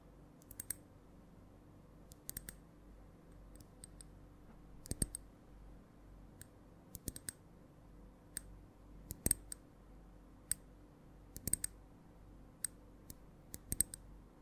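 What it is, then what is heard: Glass perfume bottle. Long nails tap a small, partly full glass perfume bottle with amber liquid and a metallic cap, held in the hands. Sharp, bright clicks come in an irregular, uneven rhythm, each dying away almost instantly over a quiet, low background hum.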